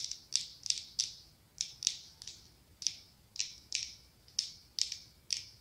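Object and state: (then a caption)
Glass candle jar tapped with fingernails. Long acrylic nails tap and scratch the ribbed body of a medium pumpkin-shaped glass candle jar filled with orange wax. The result is a steady, irregular series of crisp, bright clicks, each dying away almost at once, with faint scratchy ticks between them and no low-end weight.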